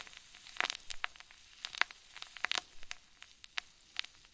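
A clear zip plastic bag full of white fluffy stuffing is squeezed between both thumbs up close. Soft, quiet crinkling is broken by scattered sharp, bright crackles and snaps over a faint airy hiss, with little low end.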